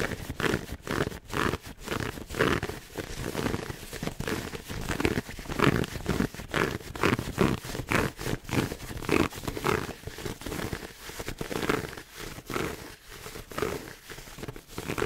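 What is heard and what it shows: A red pleated satin heart gift box is held upright close to a microphone while fingernails scratch the fabric pleats on both sides. Quick, rough scratching strokes come in a dense, uneven stream, full and low-heavy with a soft raspy top. The effect is a fast, continuous rustling texture with no pauses.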